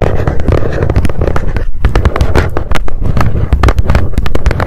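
Long nails tap fast on the top of a small, hollow, white printed cardboard mailer box resting on a fluffy mat. The result is a dense stream of quick, hollow taps with a deep, low-heavy body and almost no ring after each one, running without a break.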